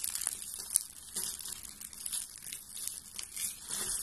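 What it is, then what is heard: Dry soap flakes, crushed. A hand with long painted nails squeezes and crushes a loose pile of thin pink and green dry soap shavings on a table. A steady, quiet, crunchy crackling of dense little snaps fills the four seconds, mostly bright and high with almost no low end, swelling softly in several waves.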